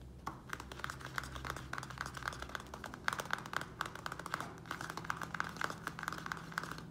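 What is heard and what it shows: Fingernails rapidly tap and scratch the thin plastic walls of a small square black plastic nursery pot filled with soil. The quick, dry clicks have a hollow plastic tone around 1.5 kHz, with brief scratchy rustles in between and a faint low hum underneath.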